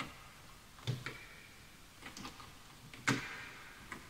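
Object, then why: Bamboo wood computer keyboard. Fingertips type slowly on a full-size bamboo wood computer keyboard with wooden keys, while the mouse is left untouched. Six sparse, hollow wooden clacks with bright ticking edges die away quickly against quiet background hiss.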